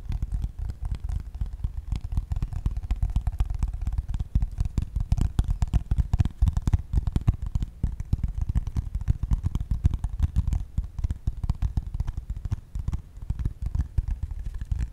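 A flat brown corrugated cardboard piece, roughly tablet-sized and held up near the mic, is tapped and scratched with medium-length pink-painted fingernails. The result is a dense, continuous run of quick, dull, low thumps and soft scratches that die away at once, with no ringing and almost no bright content.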